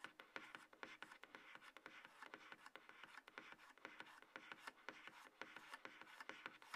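Fingertips and long nails tap and scratch the top of a hollow, light grey cardboard iPhone box base resting on a table. The result is a quiet, steady run of quick, dry taps, each dying away almost at once, with a papery scratching rasp centred in the mids around 1.4 kHz and reaching bright. There is no low rumble.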